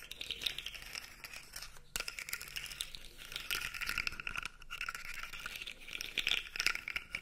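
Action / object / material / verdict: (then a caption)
scrape / segmented plastic articulated toy / plastic / none. A blue segmented plastic fidget toy is dangled and flexed, its segments clicking, and scratched with nails. A dense, bright rattle of quick clicks and scratches runs through the clip, with little low end and a few louder bursts.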